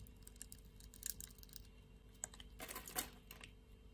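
A metal utility-knife blade scrapes and cuts a solid pink bar of soap, held in a palm with long nails, along its pre-scored grid, shaving off small cubes. Quiet, crisp, bright clicks and short scraping ticks come in clusters, with the densest bursts near the middle and toward the end, over a faint low hum. Each click is dry and dies away almost instantly.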